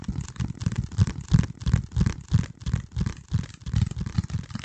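A flat, hand-sized piece of dark corrugated cardboard is held over the microphone and scratched and squeezed with the fingertips. This produces deep, muffled crunching and crinkling bursts that repeat at an uneven pace, about once per second. Each burst is dull and bass-heavy and stops quickly, with no ring.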